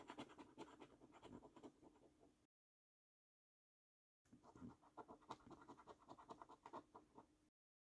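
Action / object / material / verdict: scrape / paper scratch card with scratch-off coating / paper / none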